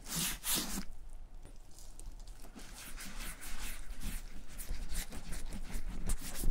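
A gloved palm and fingers rub white balm into the tan leather front pocket flap of a vintage German satchel bag. The clip gives soft, bright swishing and scuffing strokes over a low, steady rumble. The rubbing grows slightly louder toward the end.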